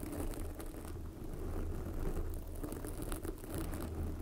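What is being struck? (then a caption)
Foam microphone windscreen. Long glossy black fingernails of both hands scratch a soft, porous red foam windscreen covering a microphone. The result is a steady, dense, low rumbling scratch with faint crackly flecks and no distinct separate strokes.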